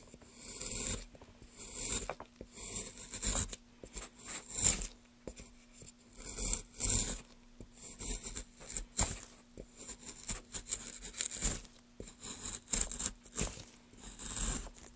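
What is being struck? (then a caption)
Pale wooden block. A small gouge carves a solid pale wood block held at an angle in gloved hands, lifting curled shavings. Repeated bright, rasping scrape strokes come in short bursts over a faint steady low hum.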